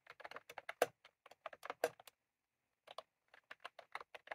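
Fast typing on a full-size retro-style plastic mechanical keyboard with round cream plastic keycaps on a plastic case, resting on a desk, as both hands tap the keys with fingertips. Quick, crisp clicks come in uneven bursts with two louder keystrokes, then a pause of about a second before the typing resumes.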